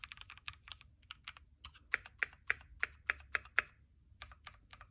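A backlit mechanical Keychron Q3 Knob hot-swappable keyboard with red switches, plastic keycaps and a metal case is typed on with fingertips. It makes a run of quick, bright key clacks that die away almost at once. A louder cluster of sharper strikes comes in the middle.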